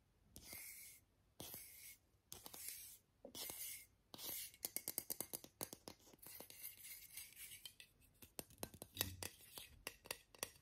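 Fingernails scratch and tap along the printed body of a small, hollow Borotalco aluminium aerosol deodorant spray can with a plastic cap. Five bright, hissy scratching strokes come first, followed by a long run of quick, dry, tinny taps with very short ring.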